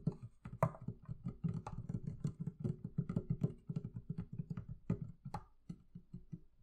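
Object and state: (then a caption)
Hollow wooden barrel chest. Long nails tap and scratch the wooden lid top of a hollow, closed wooden barrel-shaped chest. A quick, uneven run of short, dry, hollow knocks centred on a low pitch is heard, with a few sharper, brighter clicks and scrapes. Each hit dies away almost at once.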